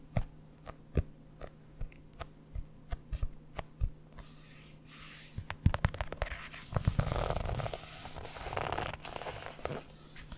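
Long nails and fingertips tap and scratch the cover of a red hardcover notebook held up close to a microphone. A string of sharp, dry taps gives way to longer, rough scratching strokes across the cover surface, with more taps scattered throughout.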